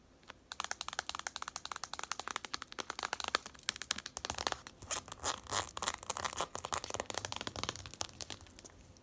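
Long acrylic nails rapidly tap and scratch the label and sides of a medium plastic jar with a black lid, filled with lavender bath salt crystals and held in the hands. The result is a dense stream of dry, bright, crinkly clicks with almost no ring, building to louder, smeared scratching bursts around the middle before settling back into lighter taps.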